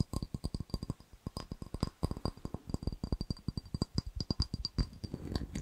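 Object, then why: Small ribbed glass jar. A small, clear, empty ribbed glass jar is turned in the hands and tapped with fingernails on its side and base. About 33 quick, dry taps land in an uneven rhythm, each with a dull, low body, a very short decay and a faint bright tick, over a steady thin high tone.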